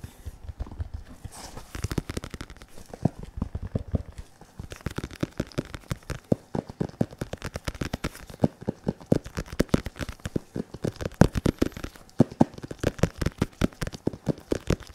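An RDX padded synthetic leather boxing focus mitt, held in front of the microphone, is tapped and patted with latex-gloved fingertips. A fast, steady stream of soft, dull thuds with a low-heavy body and almost no bright content runs throughout, each tap dying away almost instantly.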